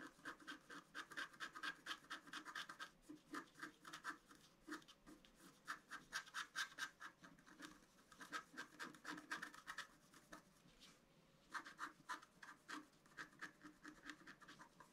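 A pointed wooden stylus scratches a flat A4-size scratch-art card on a table, cutting through its black coating to the colored foil layer beneath. Quick, dry, rasping strokes come in irregular bursts, with a bright scratchy tone centered near 1.6 kHz and a weaker low rub. Brief pauses separate the clusters, and each stroke ends almost instantly with no ring.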